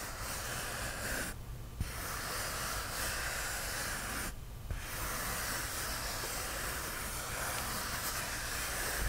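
Fingernails slowly scratch a white polyethylene foam sheet up close, making a steady, breathy hiss across a broad range with a low rumble underneath. The bright scratching drops out briefly twice, around 1.5 and 4.5 seconds, then resumes at an even level until the end.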